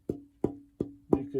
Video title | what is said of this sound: Making an Archtop Guitar - Chapter 3 | that's a lower tone it has a bit more sustain